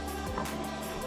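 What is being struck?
Nothing is struck.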